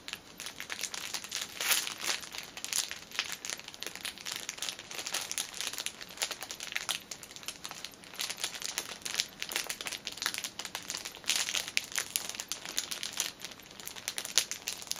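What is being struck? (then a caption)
Folded fitness band in thin clear plastic film. Long nails scratch and tap with both hands on the thin, clear cellophane wrapping a folded fitness band package. The result is a steady, bright crinkling and crackling with many quick, sharp taps and almost no low end.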